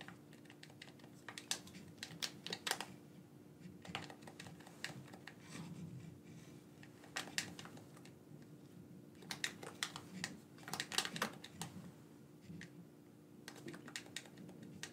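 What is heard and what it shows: A black corded PlayStation-style gamepad with a hand-sized hollow plastic shell is held in both hands while fingertips and thumbs press and click its buttons. Quick, bright plastic clicks and tapping come in bursts, with short pauses between them, over a low, steady hum.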